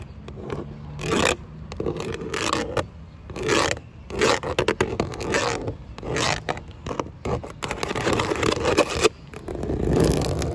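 Long acrylic nails scratch and scrape along grey textured vinyl siding on an outside wall, whose panels are thin, hollow plastic. The result is a series of dry, raspy scraping bursts with bright, hissy edges and a hollow plastic tone, separated by short quiet gaps.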